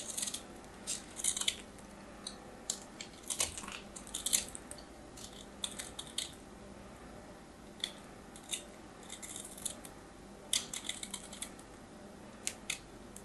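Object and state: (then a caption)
Bar of soap being carved. A metal craft knife carves a small remaining piece of solid white soap held between fingertips. Short, bright, crisp scraping crunches come in irregular bursts with quiet pauses between them, and each cut stops almost at once with no ring.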